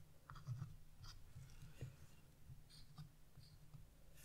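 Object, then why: Wax-coated scratch-art paper. A dark chisel tip scratches leaf and branch lines into black wax-coated scratch-art paper, lifting black flakes. The sound is a quiet, steady low scraping rumble broken by short, bright scratchy bursts as each stroke catches.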